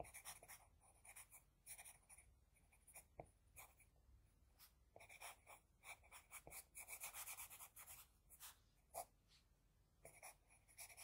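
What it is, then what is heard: Pencil drawing on paper. An HB pencil scratches across a flat sheet of drawing paper while drawing hair. Quiet, bright, dry scratching comes in quick bursts of short strokes with brief pauses, and no ring after each stroke.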